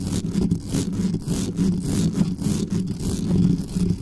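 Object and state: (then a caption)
Metal microphone grille being scratched. Long nails scratch fast and hard across the metal mesh grille of a black studio microphone. The result is a dense, continuous, rumbling scrape, heaviest in the low end around 176 Hz. Rapid strokes surge and fade with streaks of bright hiss.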